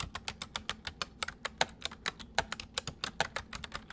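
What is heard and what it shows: Fingertips of both hands type rapidly on a white, full-size plastic mechanical computer keyboard. About 26 sharp, bright key clicks follow one another in a quick, uneven rhythm, each dying away almost instantly. A faint low hum sits underneath.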